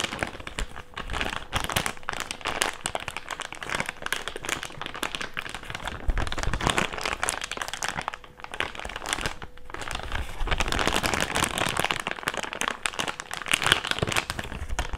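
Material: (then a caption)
Plastic. An empty, thick, clear plastic bag is folded flat and then crinkled between fingers. It makes a dense, continuous run of sharp, bright crackles and rustles, with brief quieter lulls around 8.5 and 9.5 seconds before it grows busier again.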